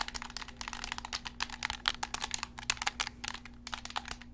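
Fingertips click the buttons and tap the shell of a hollow, black PlayStation-style plastic gamepad held close. A rapid, uneven run of sharp, bright plastic clicks and taps dies away instantly over a faint, steady low hum.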